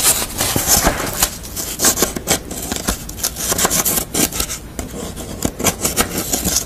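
Long nails scratch and rub the edges and surface of a pastel drawing on corrugated cardboard held up in the air. The result is a steady run of crisp, bright scraping strokes with sharp rasping accents and little low end.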